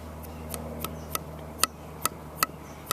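A thrown clay pot that has hardened by air drying only, not fired, is flicked seven times. Each flick gives a short, dull tick that dies away almost at once, over a faint steady low hum. The unfired pot sounds very dull.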